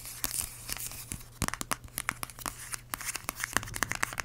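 Long acrylic nails tap and scratch a small, filled yellow plastic squeeze tube of vanilla hand cream with a white cap. Rapid, crisp, bright clicking taps are mixed with dry, crinkly scratching over a low steady hum, each tap dying away almost instantly.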